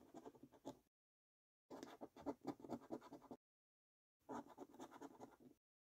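A coin edge scratches the latex number panels of a thin, flat £25 "5x £1 Million Prize Portal" National Lottery paper scratch card lying on a table. Three bursts of quick, dry, rasping scrapes are separated by short silences, with most energy in the low-mid range and almost no ring after each stroke.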